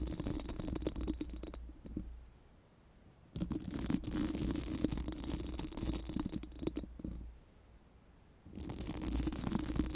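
Pink silicone spoolie wands held in both hands scratch and rub rapidly across a round, hollow metal mesh microphone grille, producing dense, gritty bristling with a low, boomy resonance. Three bursts of scratching are separated by two quiet pauses.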